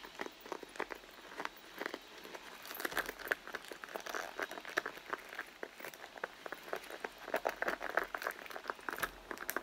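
Fingertips and long nails scratch and tap the front panel near the zipper of a medium, hollow, soft-sided red pebbled-leather handbag lying on a textured mat. The sound is a quiet, steady stream of short, dry taps and scratchy rustles mostly in the mid range, with no low end and brief bright edges on the sharper hits.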